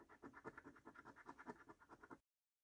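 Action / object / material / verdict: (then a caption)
scrape / paper scratch card with latex coating, scraped with a coin / paper / none. A coin edge scratches the latex coating off a flat, thin cardboard National Lottery paper scratch card lying on a dark table, while one hand holds the card flat. Quick, repeated short strokes make a soft, dry, papery scraping in the midrange, each stroke clearly separate. The scratching stops abruptly at about two seconds, followed by silence.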